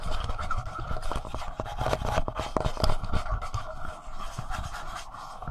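Fingertips and short nails tap and scratch the plastic front body and screen area of a palm-sized, hollow black plastic Tascam portable recorder. The result is a rapid, irregular run of dull, low, close-up thumps mixed with dry scratching, each tap dying away almost instantly.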